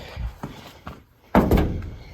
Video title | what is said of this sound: I Blew Up The Transmission in the New Farm Truck | right there it's a little rusty